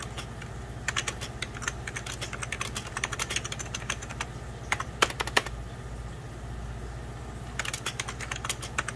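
Both hands type continuously on a hollow, beige plastic 1990s Packard Bell computer keyboard, striking the keys with fingertips and medium-length nails. The result is bright, sharp clicks in quick bursts with brief pauses between them, over a steady low hum.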